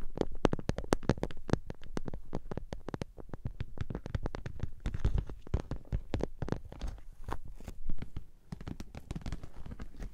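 Long nails scratch and tap the end and front of a hollow pink glossy PVC cosmetic bag, first lying on its side and then held upright. The result is a dense run of quick, dull, low-pitched taps mixed with crackly scratching, each tap dying away almost at once.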